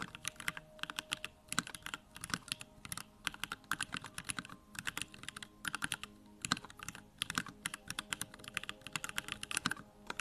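Steady fingertip typing on a backlit 65% Bakeneko65 mechanical keyboard with Durock Lavender switches and plastic keycaps. Quick bursts of short, bright keystrokes with very little low end clatter in uneven runs, separated by brief pauses, and each press dies away almost instantly.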